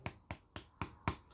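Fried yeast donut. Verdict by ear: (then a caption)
Hollow. A fried yeast donut is tapped five times, each tap giving a short, dull, hollow thud with a low body that dies away almost at once. The hollow sound shows the donut is properly cooked through inside.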